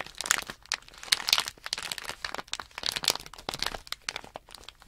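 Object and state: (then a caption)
Plastic package bag crinkling. Fingertips crinkle and squeeze the film of a small, sealed, foil-backed plastic Nanoblock package bag holding blocks. The result is a dense run of sharp, bright crackles and crunches with almost no low end. Each burst dies away almost instantly, with quieter rustling in between.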